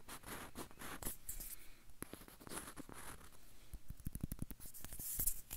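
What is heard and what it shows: Fingernails scratch the peel of a whole yellow banana held close to the microphone. Soft, dry scratching and rustling fill the clip, with brief bright hissy bursts. In the second half they give way to a run of quick, dull, low taps.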